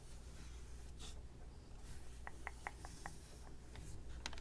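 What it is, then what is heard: Plastic VHS clamshell case. A Snow White VHS plastic clamshell case lies flat, held by one hand, while the other hand's fingertips and nails trace and tap its back cover, with other cases nearby left untouched. Soft scratchy rubbing comes first, then a run of quick, light, clicky taps with a short, bright plastic ring. A low, steady hum sits underneath throughout.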